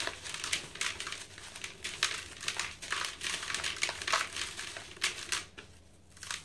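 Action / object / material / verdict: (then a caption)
scrape / sand-cement block / sand-cement / none. Hands with green painted nails crush and crumble molded dry sand-cement blocks in a blue plastic bucket, breaking the solid blocks down into loose powder. A steady stream of dry, bright crunching and crackling comes in short bursts with gritty crumbling between them, fading to a quieter rustle near the end.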